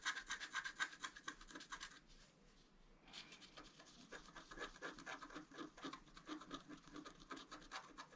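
A wooden stylus scratches a flat, black-coated scratch art paper card, etching out a flower and a deer's face. Quick, dry, bright rasping strokes come in a steady back-and-forth rhythm, pause briefly near the middle, then pick up again in softer, denser scraping.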